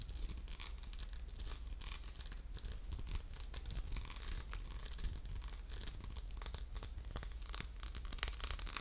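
An orange textured glass soap dispenser with a metal pump, hollow and held in the hand, is scratched with fingertips and short nails. The result is a steady, dense run of bright, dry rasping and crinkly scratches over a faint low hum, with quick bursts that die away almost instantly.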